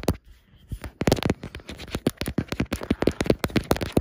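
Long black nails and fingertips rub and scratch across a large, flat, solid wood-grain laminated wardrobe door. After a quiet start, a dense run of short, dry scratching clicks follows, each one dying out almost instantly with a mid-low, hollow body.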